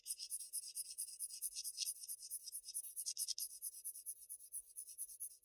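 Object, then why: Graphite pencil on Bristol paper sheet. A sharpened wooden graphite pencil scratches short, rapid shading strokes across a flat sheet of Bristol paper, recorded close up. Each stroke is a quiet, dry, bright rasp with no low end, repeating in a steady back-and-forth rhythm with no ring between strokes.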